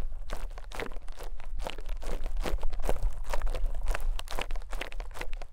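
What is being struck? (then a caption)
Soft konjac sponge pressed and scraped with a small metal pick. A rose-gold metal ear pick or tweezers presses and scrapes into a small, soft white konjac sponge piece resting on top of a mic capsule. The result is a steady run of irregular, crunchy, squishy squelches over a deep low rumble.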